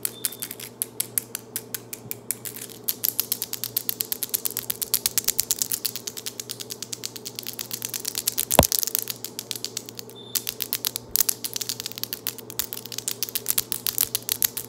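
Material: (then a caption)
Acrylic. Long, solid acrylic nails are clicked rapidly nail against nail with both hands in aggressive tapping. A dense, steady stream of sharp, bright clicks fills the clip over a faint low hum, with one louder snap about two-thirds of the way through. Each click dies away almost instantly.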